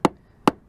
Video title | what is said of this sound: Main Mast Leak Fix Part 1. | it sounds solid as hell. I don't think I have a problem with the core getting wet at all.